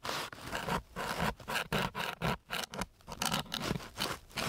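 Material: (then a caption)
Sandpaper. A flat wooden stick is scraped back and forth across a flat, gritty, coarse sandpaper sheet. It makes a series of rough, broadband scratching strokes with bright, hissy grit and short quiet gaps between passes, at an uneven pace of roughly two strokes per second.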